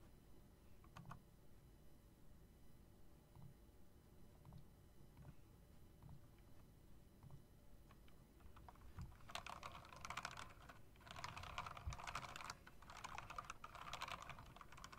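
Long-nailed fingers tap the keys of a typewriter-style mechanical keyboard with round plastic keycaps and metal rims. Sparse, soft clicks over a low background rumble build after about nine seconds into denser, brighter, faster clattering bursts of typing.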